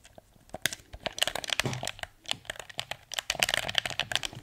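A hollow blue plastic PS4 controller is held in both hands while thumbs and fingertips press its buttons and tap the touchpad and shell. The result is a dense run of quick, dry, bright plastic clicks and taps with no ring after each one, a few softer thuds mixed in, and little low end.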